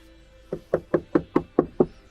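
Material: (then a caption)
Steel. Seven quick knocks on a different spot of a Cadillac's painted steel quarter panel give short, dry mid-pitched thuds with almost no ring. This spot sounds normal, unlike the nearby area suspected of having filler.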